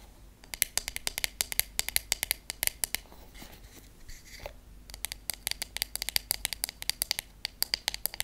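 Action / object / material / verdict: tap / wooden paddle hairbrush / wood / none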